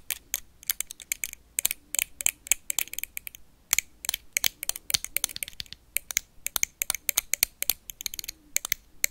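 A blue plastic toy lightsaber is tapped and scratched with paperclips, giving a fast, irregular run of sharp, bright clicks and ticks with almost no low end. Each hit dies away instantly, with a brief pause partway through before the rapid tapping resumes.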